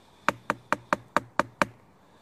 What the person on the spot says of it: higher-pitched which would suggest it's it's denser and that to me suggests that we'd because that was going to be preserved harder and full of resin